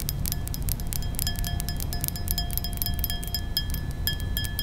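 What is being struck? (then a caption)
Thin glass brandy snifter. Long nails tap and clink rapidly on the rounded bowl of a thin, nearly empty glass balloon brandy snifter, giving a bright, chime-like ring with faint sustained tones near 700 Hz, 1.7 kHz and 3.3 kHz. The clicks blur into a steady patter over a constant low rumble throughout.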